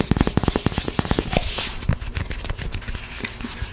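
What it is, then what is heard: Foam puzzle mat tile. Long nails tap fast on a small, thin, solid EVA foam interlocking puzzle mat tile with a pink printed side and white back, giving quick dull, muffled knocks. The tapping then turns into softer, continuous scratching across the tile.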